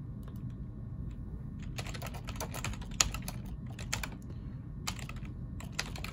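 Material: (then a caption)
Plastic. Fingertips of both hands type on the keys of a black plastic ergonomic computer keyboard. Quick, bright clicking keystrokes come in irregular bursts, with a few sharper taps standing out over a steady low background hum.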